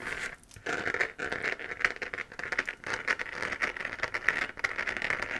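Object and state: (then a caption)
Scratched plastic moon lamp. A lit, hollow 3D-printed plastic moon-lamp sphere, about 15 cm across with a textured crater surface, is held in both hands and scratched with long dark-painted nails. The result is a continuous run of dry, crinkly scratching bursts with a bright, papery hiss centered around 2 kHz and almost no low end. The scratching swells and fades in quick, uneven strokes.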